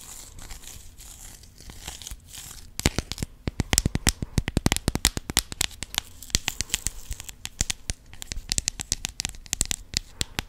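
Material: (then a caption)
Plastic. A clear plastic compartment organizer box with rhinestones inside is tapped and scratched with long acrylic nails. Soft, hissy scratching opens the clip, then gives way to a dense run of sharp, bright clicking taps with very short decay that continues to the end.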